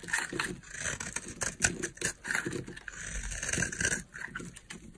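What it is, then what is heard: Dry bar soap. A utility knife blade scrapes flakes off a solid green oval bar of dry soap held in the palm. Crisp, dry crunching and scraping strokes come in quick bursts, bright and airy with a light rasp underneath.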